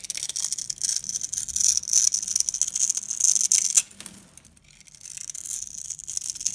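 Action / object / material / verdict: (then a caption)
scrape / bar of soap scraped with a blade / soap / none. A box-cutter blade scrapes along the edges and surface of a yellow, solid, hand-sized rectangular bar of dry soap held in the hand, shaving off stick-like curls. The result is a dense, bright crunching and scraping with a steady high hiss for about four seconds. It then drops to a quiet pause before softer scraping resumes.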